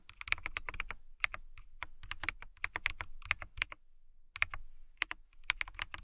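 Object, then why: Plastic mechanical keyboard. Long nails tap and type on the clear plastic keycaps of a transparent, clear acrylic mechanical keyboard. The result is a fast run of crisp, bright clicks with very short decay, broken by brief pauses.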